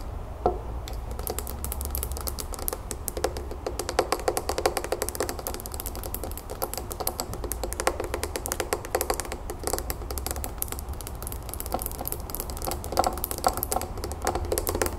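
Long nails tap fast on both sides of a small clear glass terrarium bowl holding soil, pebbles and a succulent, resting on a wooden table. The result is a dense, continuous run of quick, clicky glass taps with short, bright ticks, each dying away almost instantly over a steady low hum.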